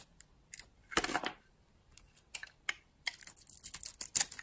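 A utility-knife blade carves a solid, dry oval bar of soap with a purple shell and blue core, held in the hand. Short, bright scraping cuts come in scattered bursts, with a longer rasping stroke near the start and a quick run of crisp, crumbly shaves toward the end. There is almost no low end, and each cut stops dead with no ring.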